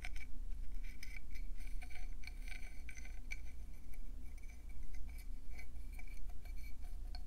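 A hand-sized, hollow, speckled conch shell is turned in both hands while long painted nails tap fast on its ridges and smooth inner lip. The result is a rapid stream of short, bright, glassy clicks over a steady low hum.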